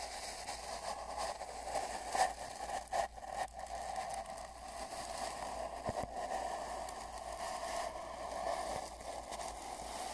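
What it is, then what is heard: Cardboard mailing tube. A large paint brush sweeps along a long, hollow brown cardboard mailing tube lying on a bedsheet, moving from the middle toward the left end, heard from inside the tube. It makes a steady, soft scratchy rustle with a hollow ring around 750 Hz and a few slightly louder strokes.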